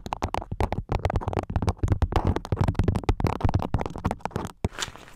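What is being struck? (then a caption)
Beeswax-coated cotton food wrap. A floral beeswax-coated cotton food wrap stretched over the top of a microphone is scratched and pinched with long nails. Dense, sticky crackling and rapid crinkly bursts come through heavy and close, dominated by low, muffled thumps. Near the end, a softer, brighter rustle follows a brief pause.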